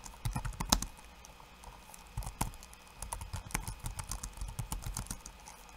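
Fingertips of one hand type on a backlit laptop keyboard with plastic keycaps, making quick, dry clicks that stop almost instantly. A first burst of keystrokes gives way to a quieter stretch, then the typing picks up again in a steady, dense run through the end.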